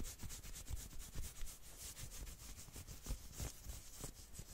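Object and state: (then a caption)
Knit sweater fabric. Long nails scratch fast along the forearm and elbow of a dark red and black knit sweater sleeve held across the body. The result is a rapid, continuous series of bright, raspy scratching strokes with soft low thumps underneath.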